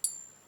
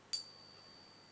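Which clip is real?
The second.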